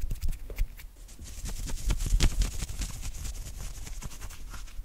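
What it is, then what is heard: Knit cotton polo shirt sleeve. Fingertips and nails quickly scratch and rub the shoulder and sleeve of an open-weave knit cotton polo shirt. The result is a dense run of fast, scratchy strokes with a bright, hissy top and soft low thumps underneath, swelling slightly in the middle before settling into a steady rustle.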